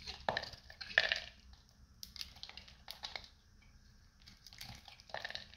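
A solid, hand-sized, light blue oval bar of dried soap with a dark coating is held in the hand and scraped with a metal utility knife. Short, irregular, bright crunchy scrapes and crackles break off crunchy flakes, with quiet pauses between the strokes.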